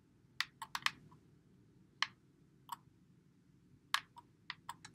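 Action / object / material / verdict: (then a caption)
tap / plastic game controller / plastic / none. Fingertips press and click the buttons and thumbsticks of a white Xbox One controller with a hollow plastic body, held in both hands. About eleven short, dry, bright clicks come at irregular intervals, some in quick clusters and others spaced apart. They stop at once with no ring, over a faint low background hum.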